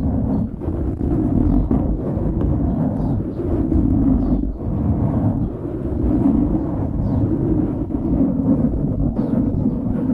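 Fingertips scratch the sides of a dark grey foam windscreen on a microphone. The result is a steady, close, muffled rumble and rustle, heavy in the low end with almost nothing bright. Brief dips and swells in level follow the strokes.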